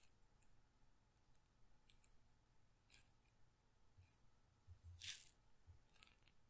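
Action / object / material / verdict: shake / glass pepper grinder holding peppercorns / glass / none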